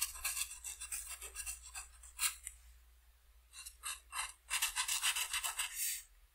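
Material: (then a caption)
Paper. A felt-tip marker tip is rubbed in strokes over the purple wing areas of a flat white paper coloring sheet on a table. Quick, bright, raspy scratching strokes come in bursts, with a brief quieter pause midway before a denser run of strokes.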